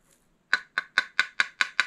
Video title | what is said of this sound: 【粘土】井戸掘り番外編1 井戸掘りで取れた粘土を焼くと？【焼き物】 | 叩いて調べてみると 乾いた音がします どきくらいの焼き加減ですね